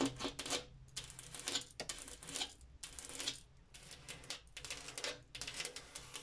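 Fingers tap on a glass mirror in quick clusters of light, bright clicks with brief pauses between bursts. Each tap is crisp and short with almost no ring, over a faint low background hum.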